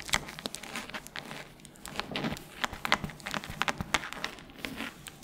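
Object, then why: Hardcover book with paper pages. A solid red hardcover book has long nails rubbing and scratching across its cover and page edges. The result is a dense run of sharp, bright scratches and crinkly rasps over soft rustling, with many quick clicks that die away almost at once.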